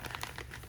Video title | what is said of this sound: Vera Haul and Update on Custom Vera Tote (watch till end for thoughts)!! | i hate the way it sounds it sounds like plastic